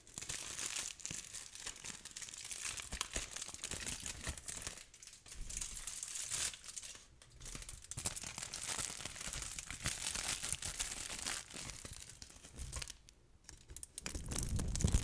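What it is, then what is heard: Aluminium foil sheet. A crumpled sheet of aluminium foil is held close to the microphone and crinkled by hand, with fingertips and long nails rubbing and squeezing it. The result is a dense, fast, irregular stream of bright crackles and crinkles, with a few brief quieter pauses around 5, 7 and 13 seconds.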